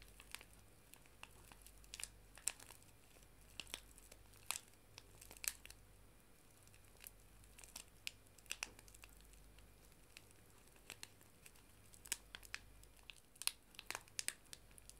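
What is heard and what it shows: A small, flat paper tea bag sachet is held in both hands and crinkled with the fingertips and long nails. Quiet, sparse, sharp crinkles and clicks come in scattered bursts, bright and papery with almost no ring, over a faint steady low hum.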